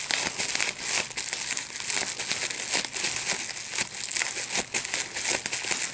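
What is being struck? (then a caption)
Plastic bubble wrap sheet. A large sheet of clear plastic bubble wrap with small air bubbles is held in both hands while the bubbles are popped by pinching them with the fingertips and thumbs. Dense, bright crinkling runs throughout, broken by many sharp, quick pops that fade almost instantly.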